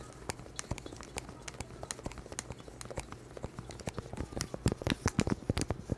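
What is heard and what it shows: Gloved hands with long, hard plastic claw-like nails tap and scratch the surface of a small, solid, round, flat tan cork board held close in front of a microphone. Rapid, irregular dry clicks sit over soft scratching and a steady low hum. The taps grow louder and denser toward the end.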